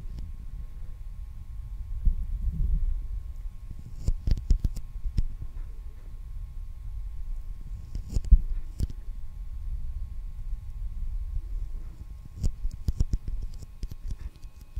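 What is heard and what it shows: A hollow roll of clear plastic packing tape with a cardboard core, held on top of the microphone, is lightly tapped and rubbed with the fingertips. Soft, muffled low rubbing rumbles continuously, broken by brief clusters of quick taps with faint bright clicks. A faint steady hum sits underneath.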